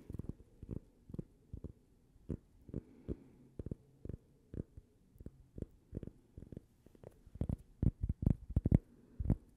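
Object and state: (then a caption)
Cork coaster. A small, solid, flat toast-shaped cork coaster with a printed logo is held in both hands and tapped with long purple nails. About two dozen short, dull, low thuds come at an irregular, quick pace with almost no ring, and they grow louder and denser toward the end.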